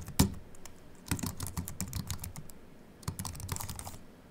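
Fast, repeated typing with both hands and short-nailed fingertips on a slim Apple keyboard with a silver aluminium base and white plastic keys, solid and flat, resting on a wooden desk. The quick taps carry a low, dull thud under bright, short clicks and come in uneven flurries with brief pauses between.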